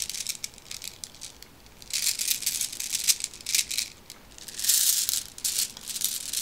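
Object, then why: Plastic bag of small glass or plastic marbles. A small plastic pack of black round decorative marbles with a cardboard header is held in the hand and shaken and turned with long red nails, so the beads rattle against each other. The sound is a dry, bright, high-pitched clattering in uneven bursts and swells, with almost no low end and only short gaps between shakes.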